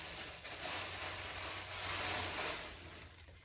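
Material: Nothing is struck.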